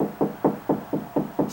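Six evenly spaced knocks on a drywall section away from the stud, each a short, hollow, low-mid thump that dies away quickly. The wall sounds hollow there, meaning the spot falls between studs.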